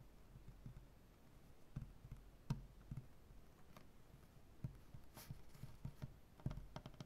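Nail tips of both hands tap a solid, light wood butcher-block tabletop in a typing-like rhythm. The clip is a quiet series of short, dull, low taps with brief, bright clicky edges that die away almost instantly.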